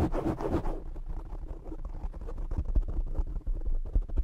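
Short nails scratch the top and sides of a black foam windscreen on a desktop microphone, producing a dense, low, rumbling scratch. A brighter burst of scraping opens the clip before the sound settles into muffled, bassy friction with occasional thumping bumps.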